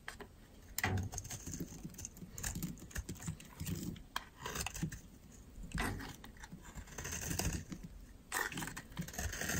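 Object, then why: Bar of soap scraped with a metal blade. A metal utility knife blade carves and scrapes dry, powdery chunks off a solid white oval soap bar held in the hand. The clip is a steady run of soft crumbly scraping with scattered crisp, bright cutting strokes and a low, dull body to the sound.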